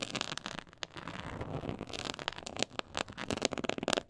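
Long acrylic fingernails scratch across the raised diamond texture of a black quilted faux-leather board lying flat. A dense, crackling scratch rises to a steadier rasp in the middle, then breaks into sharp, bright clicks and flicks toward the end.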